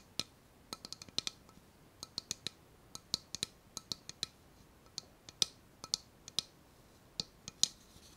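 A small, empty, hollow white ceramic bowl with a tropical floral print is held in both hands and tapped and scratched with long nails on its outside wall and rim. About 29 quiet, sharp, bright clicks ring at a high pitch, each dying away almost at once, with very little low end.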